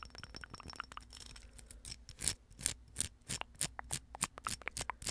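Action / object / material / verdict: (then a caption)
scrape / plastic rhinestone mesh napkin ring / plastic / none. Long acrylic nails scratch quickly along the bumpy surface of a small, hollow, silver plastic rhinestone mesh napkin ring. Dense, quiet, rapid scratching gives way to louder, separate swipes in an uneven rhythm. Each swipe is a short, bright, crackly rasp that stops almost at once.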